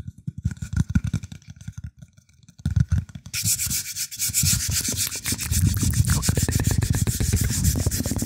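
Fingertips rub and scratch the flat surface of a round, shallow, light wooden plate held in both hands. Soft, low rubbing strokes come in bursts with brief pauses, then after about three seconds the sound becomes a steady, bright, dense scratching with rapid strokes until the end.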